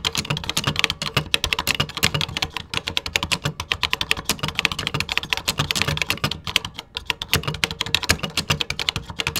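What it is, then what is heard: Plastic computer keyboard. Fingertips tap the beige plastic keys of a 1980s computer keyboard in steady, fast typing. Each keystroke is a short, dry, bright click with a faint low thump underneath. The clicks run together in a continuous, even patter.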